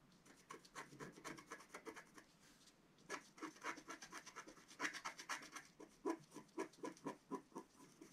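A pointed wooden stick scratches lines into the black coating of a flat scratch-art paper sheet lying on a table, working near the top of the design. Quick, uneven dry scraping strokes come in bursts, with short pauses between runs. Each stroke has a bright, rasping edge and very little low end.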